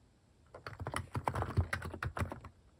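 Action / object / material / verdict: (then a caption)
tap / plastic mechanical keyboard / plastic / none. Fast fingertip typing on a plastic mechanical keyboard fitted with cat keycaps. After a quiet half second, a quick run of short, dry key clacks with a low thocky body begins. The strokes come in dense bursts with almost no ring.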